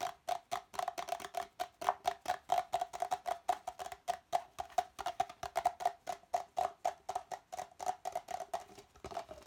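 Fingertips rapidly tap and scratch the outside wall of an empty, hollow red plastic party cup, its open end facing out. About 48 quick, dry knocks sound in a fast, uneven stream, each with a short hollow ring near 720 Hz over a fainter lower tone. Toward the end, a bright, hissy scratching takes over.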